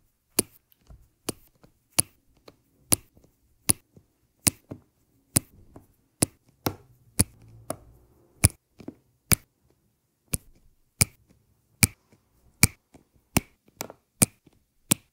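A metal-tipped drill pen, held by a hand with red nails, taps small round resin rhinestone drills down one at a time onto an adhesive canvas. About 21 sharp, dry clicks land at an uneven pace, each bright with a light low thump and almost no ring, with fainter soft taps and rustles in between.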